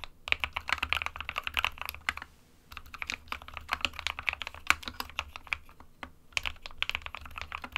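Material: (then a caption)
Plastic. An SK61 small 60% mechanical keyboard with a white plastic case and plastic keycaps, resting on a printed desk mat, is typed on with the fingertips of both hands. Rapid, bright, clicky key taps come in quick bursts, with short pauses around the middle and near the end. A faint low hum sits underneath.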